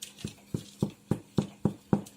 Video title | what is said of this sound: No-knead Crusty White Bread | can you hear that sounds hollow so that means your bread is ready